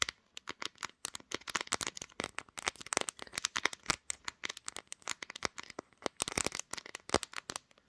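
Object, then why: Glass-backed smartphone. Long nails tap and scratch around the camera module and top of the back panel of a pink glass-backed smartphone mounted on a tripod, right on the device doing the recording. A rapid, uneven stream of sharp, bright clicks and scrapes follows, each dying almost instantly with almost no low end.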